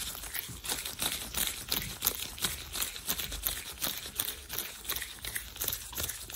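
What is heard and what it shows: Worn thin white latex gloves are clenched, rubbed and crinkled near the mic. The result is a quick, uneven run of dry, bright crinkling and squeaky rustles with very little low end, each burst stopping short with no ring.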